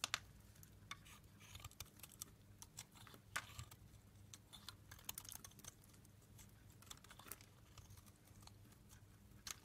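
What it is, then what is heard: Dry bar soap, shaved. A solid green rectangular embossed bar of dry soap, held in hand, is shaved with a small metal blade into crunchy shavings. Quick, dry, bright scraping crackles repeat irregularly over a faint low hum, each one sharp and very short with almost no ring.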